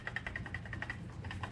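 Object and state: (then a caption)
Catalytic converter with loose, broken honeycomb inside. A removed left catalytic converter from a 2018 Chevy Camaro is shaken by hand, and its loose ceramic honeycomb substrate rattles inside the metal shell. The result is a quick, maraca-like series of bright rattles around 2 kHz over a low background hum, showing the converter is broken.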